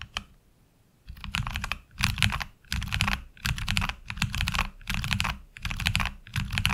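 Two-handed fingertip typing on a HyperX Alloy Origins Core tenkeyless mechanical keyboard with black ABS keycaps and tactile switches, resting on a desk mat. After a brief keystroke and a near-silent pause, steady bursts of rapid clacking follow, each keystroke pairing a bright click with a low thock and dying away almost at once.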